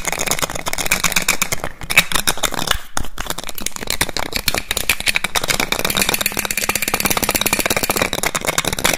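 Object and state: Glass perfume bottle with cap.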